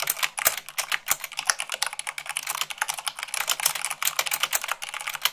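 Fingertips with long nails type fast, at about 98 words per minute, on a mechanical keyboard with white plastic keycaps on a black base. A dense stream of sharp, bright plastic clicks and clacks rattles on with uneven loudness. Each click dies almost instantly with almost no low end.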